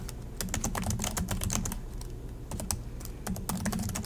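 Fingertips from both hands type continuously on the low-profile plastic chiclet keys of a silver Acer laptop, producing a rapid stream of sharp, bright clicks over a steady low hum. A brief pause near the middle interrupts the taps before they resume at the same pace.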